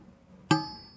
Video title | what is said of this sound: Pisau sembelih VICTORINOX CAP PAYUNG (keluaran lama 1980an) | Desing, anda akan dapat mendengar bunyi desing besi yang berlainan.